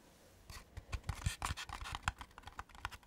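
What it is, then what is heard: Laser-cut wooden lantern box. Long fingernails tap and scratch the side of a hand-sized, hollow, pyramid-shaped laser-cut wooden lantern box with cut-out fretwork and a light inside. The result is a quick, uneven run of short, dry clicks and scrapes with a low, hollow knock and brief bright edges that die away almost at once.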